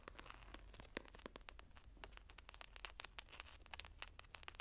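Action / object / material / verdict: scrape / hardcover journal with embossed cover / board / none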